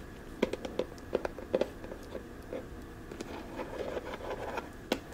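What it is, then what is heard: Plastic storage box tapped with fingernails. Long dark-painted nails tap and click rapidly on the ribbed side of a small, hollow, rectangular teal plastic storage box with a lid, held in both hands. About twelve short, dry clicks stand out over a low, steady hiss, each with a hollow midrange body and a bright tick. Softer scratchy taps fill the gaps, and the sound dies away almost instantly with no ring.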